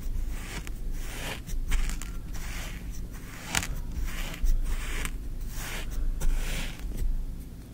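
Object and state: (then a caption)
Kinetic sand. A thin wooden stick is poked and dragged through green kinetic sand filling a tray while the other hand rests on the sand. Soft gritty scraping and crunching come in repeated bright, hissy strokes over a steady low rumble.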